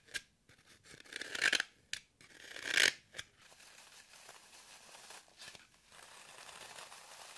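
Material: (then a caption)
Floral foam. Long nails scratch and dig grooves into the face of a solid, crumbly green floral foam brick held in hand over a table. Bright, dry rasping scrapes come in short bursts, with two louder, longer drags early on. It settles into a softer, steady crumbly scratching.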